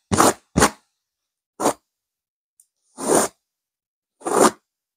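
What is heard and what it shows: Long nails scratch aggressively across a stuffed pillow with a purple velvet cover and a silver geometric pattern. Five short, dry, rasping scrapes with a bright, hissy edge are separated by silent gaps. Each stroke stops abruptly with almost no ring.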